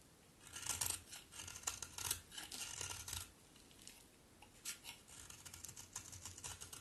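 A utility knife blade shaves curls from a solid pink bar of soap with a textured face. A series of crisp, bright scraping strokes sounds, each short and dry, with quieter, softer shaving toward the end.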